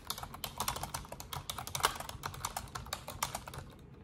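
Long orange nails and fingertips type in rapid taps on an Asus desktop keyboard with black plastic keycaps and a silver frame. The result is a dense, continuous stream of short, bright plastic clicks with a few louder keystrokes, over a faint low hum, trailing off near the end.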